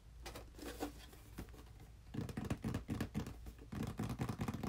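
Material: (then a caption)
Cardboard. A small, hollow, red printed cardboard box for a game controller, held upright in both hands, is tapped with the fingertips. Soft, quick, uneven taps run for the first two seconds, then turn into louder, hollow, low thuds in two bursts with a brief pause between them. Each tap dies away almost immediately.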